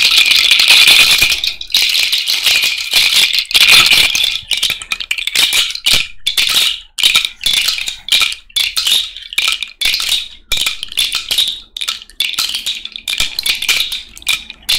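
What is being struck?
Cowrie shell bracelet.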